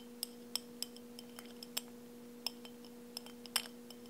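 Nails or fingertips tap and clink a hand-held brown glass beer bottle with a paper label that seems full. A scattered series of short, bright glassy clicks and clinks rings only briefly over a steady low hum.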